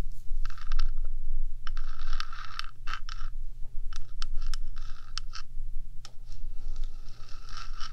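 Long acrylic nails on one hand scratch along the top of a 3Dio binaural microphone's hollow rectangular metal housing, about 15 cm long. Bright, rasping scrapes come in repeated bursts with sharp clicks between them. A steady low hum runs underneath throughout.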